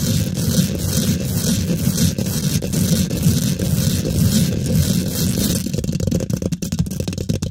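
Fingertips and nails scratch fast behind and beside the head of a large microphone with a hollow steel mesh grille. The result is a dense, steady scraping rumble heavy in the low end with a faint bright hiss. In the last two seconds it turns choppier, breaking into short, sharp strokes.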